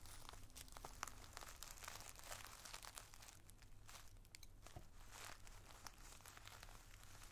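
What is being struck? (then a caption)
Plastic zip bag filled with tissue paper. A wooden drumstick pencil tip taps and scratches across a clear plastic zip-top bag full of multicolored tissue paper squares, held flat by hand. Dense, quiet crinkling and crackling fill the clip, with short bright ticks from the tip over a steady low hum.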